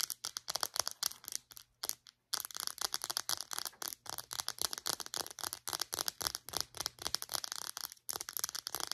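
Long nails tap rapidly on the casing and clear cap of a small white plastic Secret deodorant stick. The result is a steady stream of bright, dry plastic clicks with almost no ring, broken by a brief pause near the two-second mark.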